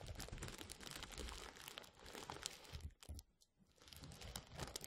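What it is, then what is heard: Plastic bubble wrap. A rolled tube of clear plastic bubble wrap is rubbed and crinkled with fingertips just above a microphone. Dense, bright crackling and rustling run continuously over soft low thumps of handling. The sound briefly thins to a hush near the middle before the crinkling builds back up.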